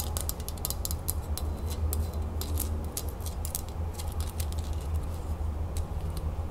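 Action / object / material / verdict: tap / small metal crown-shaped lid / metal / none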